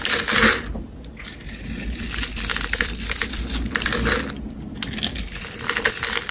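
A metal blade cuts and scrapes grid-scored layers off a hand-sized, solid rectangular pale green bar of soap held in the hand, making bright, crisp crunching and scraping. Small cubes crumble away in a steady, irregular crackle that swells and fades in bursts.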